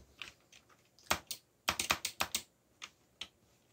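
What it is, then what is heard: Plastic mechanical keyboard, slow typing. Slow typing on a backlit mechanical keyboard with black plastic keycaps, fingertips resting on and pressing the keys. Eleven short, bright plastic clicks sound, some singly and some in a quick cluster, each dying away almost at once with almost no low end.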